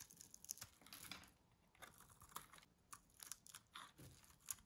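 A small metal blade cuts small cubes off a green bar of dry solid soap held in the hand. The cubes give sharp, dry crunches with brief scraping in between, bright and crisp with almost no low end. Each snap dies away at once in a quiet, close setting.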